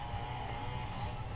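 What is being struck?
Nothing is struck.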